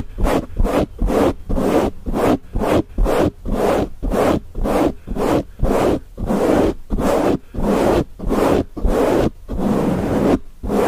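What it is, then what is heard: Foam microphone windscreen being scratched. Fingertips and nails of both hands scratch and rub the dark grey foam windscreen covering a Blue Yeti microphone head. About 19 fast, loosely timed bursts of close, rough scratching noise sound, each a short swell of broadband rasp centered in the low mids with brighter hiss on top. Low rumbling thumps sit underneath, with brief near-silent gaps between strokes.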